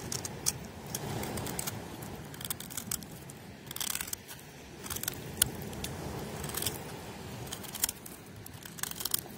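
An old, very dry, crunchy oval bar of pale soap is held in the hand and shaved with a metal knife blade, with flakes falling off the solid bar as the blade scrapes and cuts across it. Short, bright, crackly scraping bursts repeat over a low rumbling background, recorded outdoors on a beach with vehicle sounds nearby.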